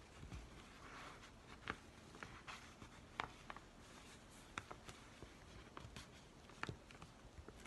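Fingers rub and scratch an empty yellow Amazon kraft paper padded envelope held with its flap open. Quiet, steady papery crinkling carries scattered sharp, bright ticks and scratches that die away almost instantly.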